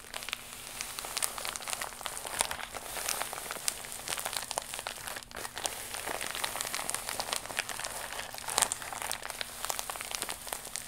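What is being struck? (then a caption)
Thin plastic mailer pouch. A flat, iridescent, embossed holographic plastic mailer pouch, held against the chest, is scratched with long acrylic nails. It gives a steady, dense, bright crinkling and scratching with frequent sharp ticks throughout, at a fairly quiet level.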